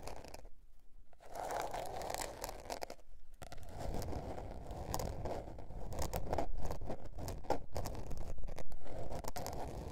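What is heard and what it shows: Long nails scratch and tap the blue patterned paper cover of a small spiral-bound notebook resting on fur. The sound is a steady run of dry, papery scraping strokes broken by brief gaps and sharper tapping bursts. It is mostly low and muffled in tone, with short bright edges on the louder strokes.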